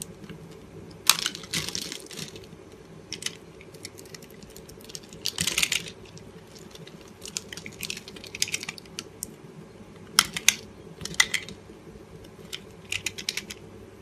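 A utility knife blade scrapes small cubes off an oval, solid green-and-pink soap bar that has been pre-scored into a grid. Bright, crisp crackling and scraping bursts come in short clusters, each dying away almost instantly, over a faint steady low hum.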